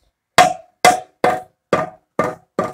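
Six mallet taps on a cooled steel two-stroke exhaust pipe from a 50/80cc engine give short, dull knocks with a faint tone near 720 Hz that dies away almost at once. The pipe does not ring hollow, showing carbon deposits are still clogging the inside.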